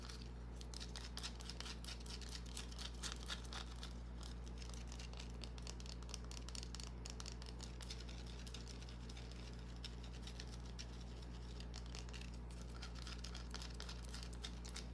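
Long dark-painted nails scratch quickly at a small solid green bar of soap held in the palm. The result is quiet, dense, crackly scratching with bright ticks over a steady low hum.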